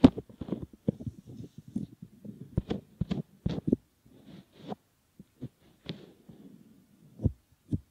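Fingertips pinch, squeeze and fold the rim of a soft, solid silicone ear model resting on a silicone pad, rubbing the silicone. Close, muffled rubbing and soft squishy thumps come in uneven bursts, sitting mostly in the low-mid range with little brightness. Short pauses separate the bursts.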